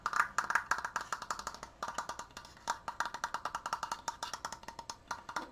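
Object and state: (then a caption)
Wooden Triforce decoration. Fingers tap quickly on a wooden Triforce decoration. Several dozen short, dry, hollow wooden knocks centered around 1.2 kHz ring briefly, with brief pauses near 1.7 and 5 seconds. The result is a steady, woodblock-like rattle.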